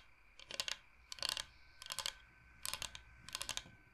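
Fingernails tap fast on a large, flat, solid bamboo cutting board shaped like the state of Michigan, held close to the microphone. Five quick bursts of crisp, bright clicks are separated by short pauses, with almost no low end, no ring after each tap, and a faint steady hum underneath.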